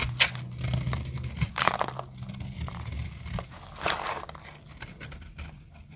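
A snap-off metal blade scrapes and cuts into a solid orange dry soap bar, making dry, crackly scratches and crisp crunches as shavings crumble off. Bright, grainy scraping comes in short bursts over a low rumble, with sharp clicks that stop almost at once.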